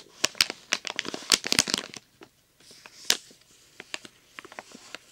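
A flat, thin plastic blister package with a foil backing, holding glow sticks, is held in both hands and crinkled and squeezed with fingertips and short nails. Dense, bright crackling and crinkling fills the first two seconds, then pauses briefly. Sharper, sparser snaps and crinkles follow, with almost no low end.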